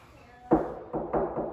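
Knocks on the wooden body of a traditional Chinese string instrument, done to test whether it is solid wood or hollow inside. Four short, dull knocks are heard, each with a brief hollow resonance. The body sounds empty inside, and a hole where the fingers go in confirms it is hollow.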